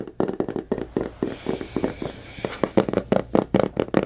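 A small white cardboard Samsung Galaxy phone box is held in both hands while fingertips and nails tap on its surface. Sixteen quick, dry, hollow taps with a low-mid body around 330 Hz die away almost instantly, sometimes in close double strikes.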